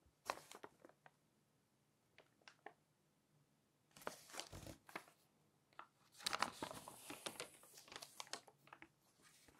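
Fingers flip several pages of an open glossy paper magazine and run their nails along the page edges. Bright, crisp crinkles and rustles come in short bursts separated by quiet pauses, with longer, denser scraping toward the end.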